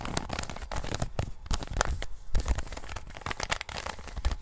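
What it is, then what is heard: Plastic puzzle cube being turned. A standard-size plastic 3x3 Rubik's cube is turned in gloved hands, its layers rotated in quick succession. Dense, rapid plastic clicks, scraping and sharp snaps come in an irregular stream, with a strong low thump under bright crackly transients.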